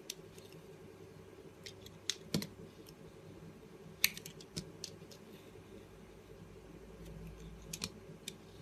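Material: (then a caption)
Soap. A small, solid orange soap bar, held between the fingers, is cut with a box-cutter blade into long thin strips. Sparse, irregular slicing scrapes and crisp, bright clicks sound over a quiet, steady low hum. The cuts are short and dry, with almost no ring.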